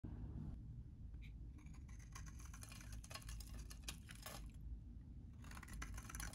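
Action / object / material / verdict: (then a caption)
scrape / bar of soap cut with a metal blade / soap / none. A solid, hand-sized green bar of very dry vintage soap, held in one hand, is scraped and cut with a metal utility knife blade into crumbly shavings. Quiet, dry crackling scrapes and bright crunchy bursts come in uneven clusters over a steady low rumble.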